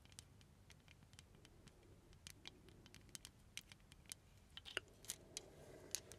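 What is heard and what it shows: Long nails tap and scratch a small ornate glass perfume bottle with a silver filigree overlay and a glass stopper. About 17 quiet, irregular, bright clicks and ticks with very short ring sit over a soft, low background hiss.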